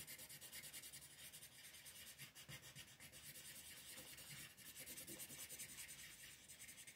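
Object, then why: Colored pencil on a paper sheet. A yellow colored pencil shades small areas of a flat sheet of white paper with a floral print, using rubbing strokes while a hand with long nails holds the sheet. The result is a quiet, steady, rhythmic scratchy rubbing, mostly high and bright, with a soft pulse from each back-and-forth stroke.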